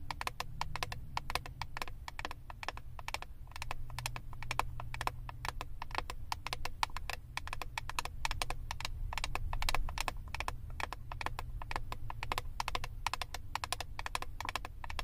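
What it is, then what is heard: Plastic eyeshadow palette tapped with nails. Long acrylic nails rapidly tap and scratch the clear plastic front lid of a flat, rectangular Wet n Wild eyeshadow palette held in both hands. The result is a dense, steady stream of sharp, dry, bright clicks with almost no ring, over a low background rumble.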